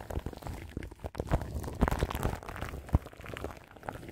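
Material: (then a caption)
Plastic film. Long nails scratch the crinkly plastic film wrapped around the grille of a large microphone. The result is a dense, continuous crackle of close, low-heavy rustling and scratching, with a few sharper, louder crinkles standing out along the way.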